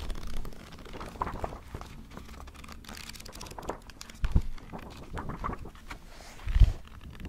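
A small paperback notebook with a black cover and thick white paper pages is held in both hands in front of the microphone while fingertips quickly riffle and flip the pages, bending and fanning them. The result is a steady, dull, low-heavy papery rustle and flutter, with two louder, bassy page thumps near the end.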